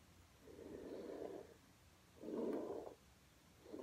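A plastic hairbrush, held bristles-down by a hand with blue nails, is brushed back and forth across a flat red low-pile fabric rug. Three soft, breathy swishing strokes are heard, each a hushed rasp lasting under a second, separated by quiet pauses, with the last cut off at the end.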